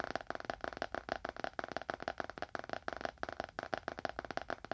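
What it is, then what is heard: Leather-bound book. A small, solid, dark leather-bound book is held in both hands and tapped fast on its cover with the fingernails of both hands. About 22 quick, dry clicks come in a busy, uneven stream, each with a mid-range knock near 670 Hz and almost no ring.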